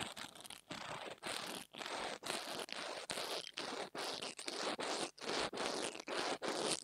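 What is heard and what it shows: An interdental brush scratches back and forth across the metal grille top of a small black plastic mini lavalier microphone. The result is a series of dry, bright, hissy scratching strokes, like a zipper, broken by short gaps in an uneven rhythm.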